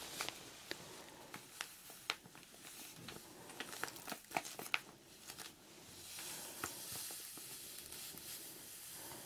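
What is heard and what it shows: Fingertips with dark-painted nails squeeze a small clear plastic zip-lock bag partly filled with pink powder or sand, held close to the mic. Quiet, bright crinkling is broken by sharp crackling snaps. The contents then shift with a steady, soft hiss.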